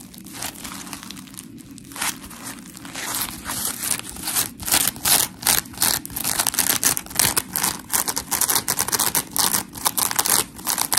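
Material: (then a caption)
Polymer foam. Long nails scratch and squeeze the gritty blue face of a hand-sized, smiley-face polymer foam scrub sponge, its coarse porous foam solid and dry. A quiet, bright crinkling rasp builds into louder, irregular bursts of dry, gritty scratching that stop short with no ring.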